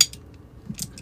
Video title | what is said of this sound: Miniature Guns: Alloy Empire 1:2.05 Scale Desert Eagle Comparison and Review | when you pull the trigger kind of sounds I don't know if you guys can hear that but it sounds Hollow